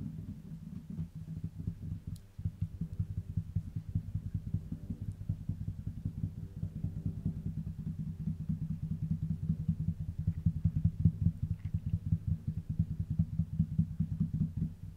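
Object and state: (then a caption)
Wooden tabletop. A flat, solid, dark wooden tabletop is tapped quickly with the fingertips of both hands. The result is a fast, steady stream of soft, dull, low thuds with almost no ring, continuing for the whole clip and growing slightly louder toward the end.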